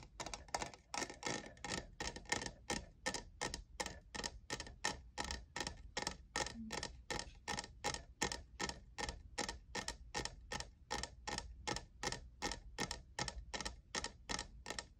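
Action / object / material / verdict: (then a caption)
tap / textured plastic cup / plastic / none. Fingertips and nails tap the sides of a hollow, lavender, diamond-textured plastic cold cup in a steady, fairly even run of quick taps. Each tap is a short, dry, bright click with a hollow plastic tone around 1.8 kHz that dies away almost at once, over a faint low hum.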